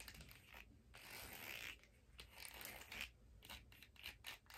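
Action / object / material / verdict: scrape / hard plastic skate blade guard / hard plastic / none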